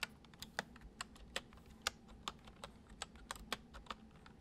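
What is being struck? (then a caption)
Plastic computer keyboard. Fingertips of both hands gently type on a full-size white plastic computer keyboard resting on a wooden desk. About twelve short, crisp, bright key clicks land at an irregular pace, each dying away almost instantly over a quiet background with a faint low hum.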